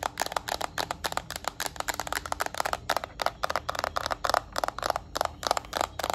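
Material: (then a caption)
Plastic. Long nails scratch and tap on the plastic back of a yellow Nintendo Switch Lite handheld game console. A quick, steady run of many short, crisp plastic clicks centers in the mids with light scratchy texture between them. Each tap dies away almost instantly, with little low end.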